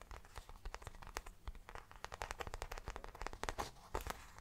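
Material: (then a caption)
Faux leather. Fingertips and nails quickly scratch and tap the plain grained back panel of a small round brown faux leather bag held in both hands. The result is a dense stream of short, dry, crackly taps and scratchy rustles with a soft low thud beneath, each sound ending almost instantly.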